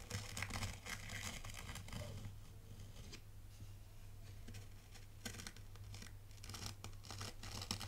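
A small dark plastic T-shaped rake is dragged and scraped by hand through a shallow tray of dry, fine white sand with a loose granular surface. Crisp, gritty scraping bursts with a bright, hissy edge come in irregular strokes, easing off to a quieter grainy rustle midway before picking up again, all over a steady low hum.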